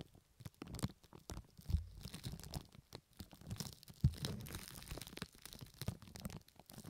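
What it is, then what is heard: Plastic wrap crinkling. Long nails on one hand scratch and crinkle pink plastic cling film stretched over the right ear of a 3Dio Pro II binaural microphone. The sound is an irregular run of close, muffled crinkles and scrapes, heavy in low rumble with little high sparkle and a few louder thumps where the film presses against the mic.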